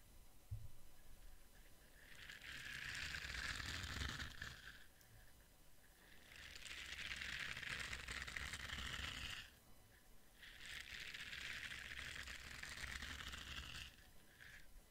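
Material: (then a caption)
Silicone. A palm-sized orange soft silicone face scrubber brush pad with bristle nubs is scratched and rubbed with fingertips. Three long bursts of bright, crackly scratching texture are heard, separated by brief quieter pauses, over a faint low rumble.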